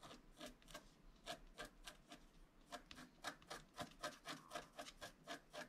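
A flat, black-coated scratch-art card is steadied by one hand and scratched along the bottom with a wooden stylus in repeated strokes. About nineteen quick, dry rasping scrapes come at a steady pace of roughly four per second, each with a bright, papery hiss and a faint tonal edge near 1.25 kHz. The strokes stop sharply with almost no ring.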